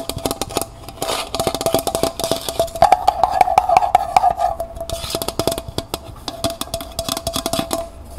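Long nails tap rapidly on the outer wall of a small, hollow, empty copper-colored metal pail with a wire handle, held in the hand. The result is a dense stream of light, clicky taps that swell in intensity midway before easing off. Each tap gives a short metallic ping centered around 750 Hz that dies away almost at once.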